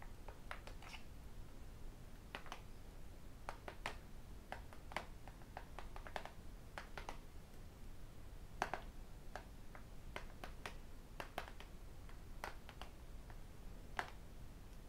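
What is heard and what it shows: A thin, flat tablet with a glass screen and an aluminium back is held and tapped on its screen with fingertips and metal rings. The result is an irregular series of short, sharp, bright clicks that die away almost instantly, over a quiet, low background rumble.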